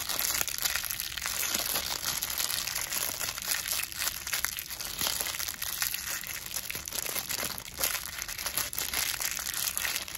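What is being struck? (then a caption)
Thin plastic wrapper. A clear, thin plastic medical packaging wrapper with a printed label is held in both hands and crinkled and rubbed between fingertips with long blue nails. A steady, dense, bright crinkling and crackling continues for about ten seconds, with almost no low end.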